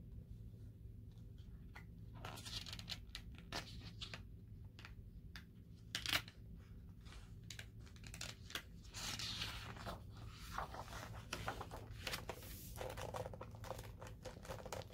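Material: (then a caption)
Paper. Fingertips turn a glossy page of a large open hardcover coffee-table book, then a flat hand rubs across the new spread. Crisp, bright paper crinkles and soft swishing rubs play over a steady low hum, with a sharper page flip standing out partway through.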